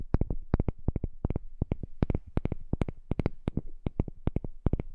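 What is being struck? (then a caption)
Small heart-shaped wooden piece. A heart-shaped piece of wood is tapped in a quick, uneven series of short, dry taps. Each tap has a dull, low body and a bright click on top and dies away almost at once.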